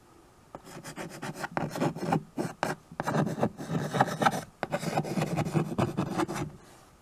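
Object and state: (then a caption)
Chalk writing on a chalkboard. A white chalk stick writes and scratches across a small tabletop chalkboard, a dark painted board in a wood-look frame. Quick, uneven rasping strokes come in bursts with short pauses between them. The scraping sounds dry and mostly low-to-mid, with little high-end hiss.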